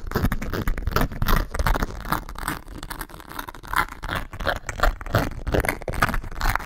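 A grey embossed leather and leopard calf-hair shoulder bag, hollow inside, is scratched and tapped with long nails. Dry, rapid scraping bursts with soft taps come in an uneven rhythm, with a dull, low-heavy body and no ring after each stroke.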